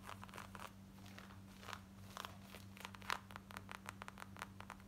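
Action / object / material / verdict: scrape / cotton denim jeans / denim / none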